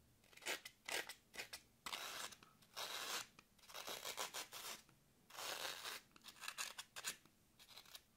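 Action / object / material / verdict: scrape / green floral foam block / floral foam / none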